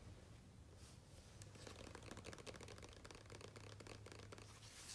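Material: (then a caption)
Paper. Fingertips of both hands tap rapidly on a thick glossy printed page of a large open hardcover photo book, with light scratching. The sound is a quick run of crisp, papery taps over a low steady hum, ending in a brighter rustle.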